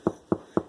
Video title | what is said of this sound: Video 6 Checking for doneness (How the "thump" sounds) | when you thump it that sounds kind of hollow